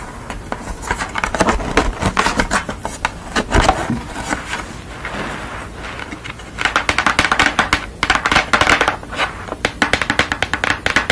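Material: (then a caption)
Paper card. Long nails tap and scratch across the surface and edges of a thin purple construction-paper drawing, resting on a towel and then held up. Dense, crisp clicks and papery rustles run throughout, easing into a softer scratching stretch around the middle before a faster burst of bright tapping picks up again.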